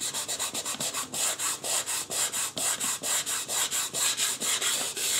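Fingertips rub and scratch the top of a life-size white polystyrene foam mannequin head. About 21 bright, hissy, scratchy strokes repeat in a steady rhythm, quick and short at first and then longer and smoother. The squeaky friction sound has almost no low end.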